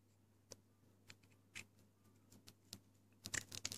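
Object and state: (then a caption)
Dry hard bar soap being carved. The metal blade of a yellow box cutter scrapes and carves into a solid, dry pink Lux bar soap held in the fingers, shaving off crumbly flakes. Short, dry, bright scraping clicks come at an uneven pace over a low steady hum, then bunch into a quicker, denser flurry at the end.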